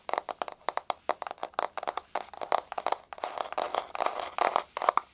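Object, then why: Wood-look laminate floor. Long nails tap and scratch across a solid, flat wood-grain laminate floor. The result is a rapid, uneven run of sharp, dry clicks with bright edges, each dying away almost instantly, with brief scratchy rustles in between.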